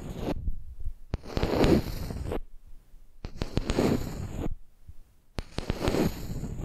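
Long nails tap and scratch the top surface of a flat, solid wooden makeup brush handle lying across the microphone. Three bursts of dry, close scratching, low and full-bodied with a brighter hiss on top, are broken by sharp, short wooden taps and brief quiet gaps.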